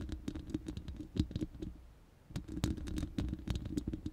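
Long nails scratch across the bare, hollow round steel mesh grille of a studio microphone, making a rapid, dry, scratchy patter of close ticks with a heavy low thump. The scratching fades to a brief near-silence midway, then resumes in quick bursts.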